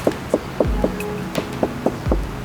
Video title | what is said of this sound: Las Mokas - Honda CT125 | ini plastik bener nih suaranya plastik